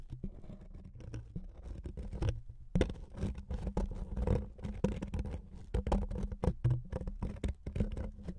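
A thin, flat wooden veneer strip resting on two foam-covered microphones is scratched with the fingernails of both hands. Dense, rapid scratching and scraping strokes come through close and muffled, dominated by low thumping rumble with little high-end brightness. Short pauses break up the strokes, including a brief near-silence a little before the three-second mark.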